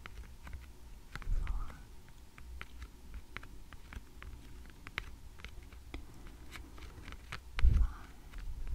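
Long red-painted nails of both hands tap and scratch across a small stack of thick, glossy laminated cardboard picture flash cards, the top card showing the number 1, lying flat and solid on a light wooden table. Quiet, sharp little clicks recur over a low, dull rumble, with two louder, muffled thumps, one near the start and one near the end.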